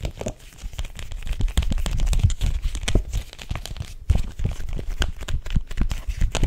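Long acrylic nails tap and grip the illustrated cardboard cover of a small, thin, solid picture book held up in both hands. The result is a dense run of quick, dry crinkling and crackling taps with a heavy low-end thump and almost no ring.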